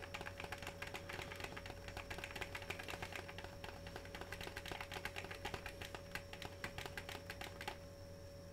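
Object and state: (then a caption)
Plastic-wrapped cardboard candy box. A small, full-looking rectangular Cookie Dough Bites candy box of cardboard with glossy plastic wrap is held in both hands and tapped and crinkled with fingertips and short nails. Rapid, dense, bright crackling taps run steadily for about seven and a half seconds over a constant low hum and a faint steady tone. They then stop, leaving only the hum.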